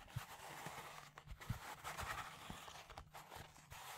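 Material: Plastic.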